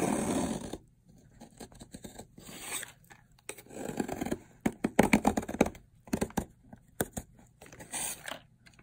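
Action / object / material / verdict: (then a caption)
scrape / soap bar shaved with a metal blade / soap / none. A metal blade scrapes and shaves layered flakes off a long, solid yellow bar of dried soap. A broad, rough scrape opens the clip, followed by bursts of dry, brittle crunches and sharp cracks as the flakes break away, with short quiet gaps between strokes.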